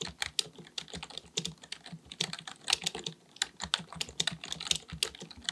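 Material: Plastic.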